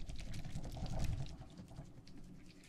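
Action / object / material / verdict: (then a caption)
shake / plastic tumbler filled with gel water beads / plastic, gel / none. A clear plastic tumbler with a lid, filled with teal gel water beads, is held in one hand and shaken so the beads rattle. The result is a soft, low, wet squishing and sloshing that gradually fades and quiets toward the end.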